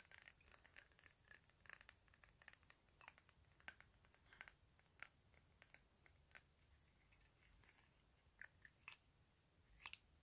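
Fingernails tap and scratch the faces and edges of a rectangular, thick clear glass 100 ml perfume bottle with a black cap and a paper label, hollow with liquid inside, held in both hands. Quiet, bright, very short clicks and ticks come in irregular clusters, mixed with light scratchy rasps. There is almost no low end and hardly any ring after each tap.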